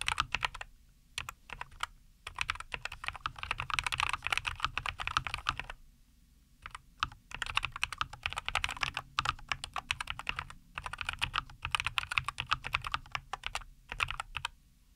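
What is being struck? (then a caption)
Mechanical keyboard with plastic keycaps. Both hands type steadily with their fingertips on a NuPhy Air75 V2, a compact 75% mechanical keyboard with a white case, green and white plastic keycaps and linear Cowberry switches, resting on a wooden desk. The result is a fast stream of short, bright, crisp keystroke clacks with a little low thump beneath. Bursts of typing are separated by brief pauses, including a longer one around the six-second mark.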